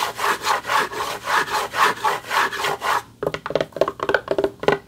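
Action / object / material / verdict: scrape / textured back of an award plaque / unknown / none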